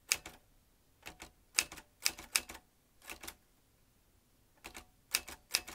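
A vintage manual metal typewriter with round metal-rimmed keys and metal typebars is typed with the fingertips of both hands. Short, bright, sharp clacks come in quick pairs and small clusters, separated by pauses, each strike dying away almost instantly. The sound is thin and high with almost no low end.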